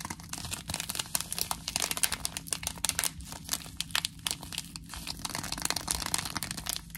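A small, flat Twinings Earl Grey paper tea sachet with a tea bag inside is held in both hands and crinkled and scratched with long nails. Dense, bright crackling and rustling comes in rapid, overlapping bursts throughout, with a faint steady low hum underneath.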